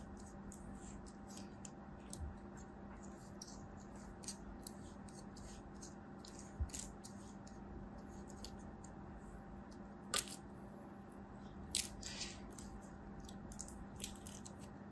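A solid red kinetic sand ball held in the fingers is cut and scraped with a utility knife blade until it breaks apart. Many short, crisp, bright scratching crunches sound over a quiet, steady low hum, with a few sharper crackles standing out as the sand gives way.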